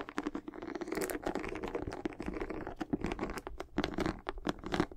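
Long acrylic nails scratch and tap the solid tread of a white, textured rubber outsole on a high-top sneaker held in both hands. The result is a dense run of dry scratches and quick, short clicks with a muted, mid-low body.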